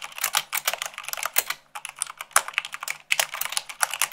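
Long pink nails and fingertips type fast, about 98 words per minute, on a full-size mechanical keyboard with white plastic keycaps on a black frame. A dense stream of bright, short clicks and clacks runs throughout, with brief pauses near 1.7 and 3.1 seconds.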